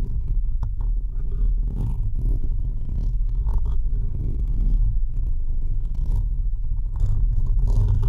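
Fingertips and short nails continuously scratch and rub the uncovered, hollow perforated metal mesh grille of a microphone head. The result is a steady, heavy low rumble centered around 60 Hz, with dense scratchy friction and occasional faint bright streaks as the nails drag across the mesh.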